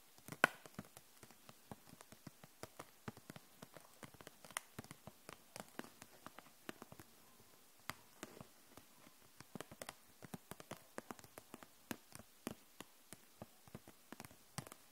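Long nails tap the barrels of a row of plastic felt-tip markers held upright in a clear plastic package. The result is a quiet, steady scatter of short, dry, bright clicks with almost no ring, one sharper tap standing out near the start.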